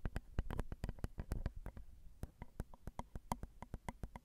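Long decorated acrylic nails tap the small hollow metal mesh grilles of a Zoom recorder's XY microphone capsules, set on a plastic and metal housing. Around 26 quick, separate taps come in an uneven rhythm, each a short, dull, low thump with a faint clicky edge that dies away almost at once.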